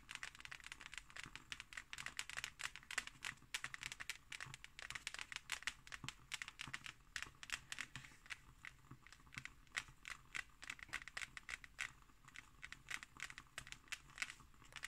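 Long nails scratch and tap on the embossed cover of a closed hardcover book. The result is a quick stream of dry, bright clicks and crinkly scratches, with very short ring and little low end.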